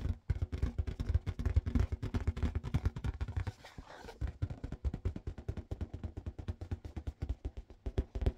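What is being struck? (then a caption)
Inflated latex balloon. Fingers tap rapidly on a yellow marble-pattern latex balloon that was inflated with a balloon pump. Each tap gives a short, deep, hollow thump that dies away almost at once, in a quick, uneven stream that eases off in the middle before picking up again.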